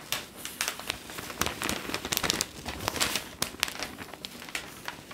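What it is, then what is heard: Newspaper pages crinkling. A large, thin Globe & Mail newsprint newspaper is held upright in both hands while fingertips turn and crinkle its sheets. Dense, bright crinkling and crackling rustle through the clip, with many sharp papery snaps over a soft hiss and almost no low end.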